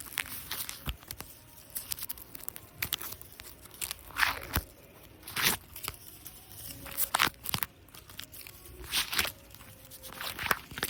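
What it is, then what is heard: Artificial grass. A plastic artificial grass decoration in a cafe is scratched and rubbed, giving a steady stream of crunchy, crinkly, tearing scrapes. Bright bursts stand out every second or so over a softer continuous rustle, with very little low end.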